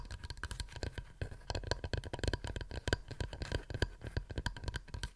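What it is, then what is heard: Wooden plate. A wooden plate is tapped rapidly with fingernails in a quick, uneven flurry of short, dry taps. Each tap is dull and low-weighted with a faint bright click on top and dies away almost instantly, leaving no ring between strikes.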